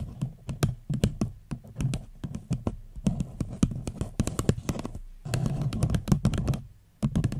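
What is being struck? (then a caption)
Paper cup. Fingernails tap rapidly on the sides of an empty paper cup held over the microphone. The taps are short, hollow, low-pitched knocks with almost no ring, falling in quick irregular bursts that briefly thin out near the end before resuming.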